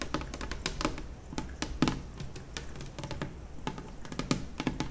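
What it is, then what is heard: Laminate kitchen table top tapped with fingernails. Long nails of both hands tap quickly across the large, solid top of a white glossy laminate kitchen table. The taps come as a rapid, uneven stream of short, dry clicks with almost no ring, over a steady low hum underneath.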